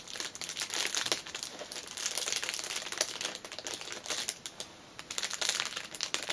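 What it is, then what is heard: Cellophane-wrapped fabric pouch. Fingers and nails crinkle and scratch the loose ends of the clear cellophane wrapper around a small black fabric pouch lying on a cushion. Dense, bright crackling and sharp little snaps come in quick bursts with almost no low end. The sound eases to a softer rustle around the middle before picking up again.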